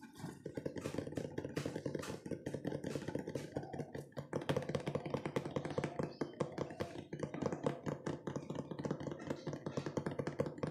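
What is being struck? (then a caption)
Cardboard cookie box. A hand-sized, hollow, rectangular printed cardboard cookie box (Pure Magic Chocolush) is held up and tapped quickly with fingertips and nails on its sides. The result is a dense, continuous stream of fast, dull, hollow taps with a low boxy resonance and very short decay, with slight bright clicks from the nails.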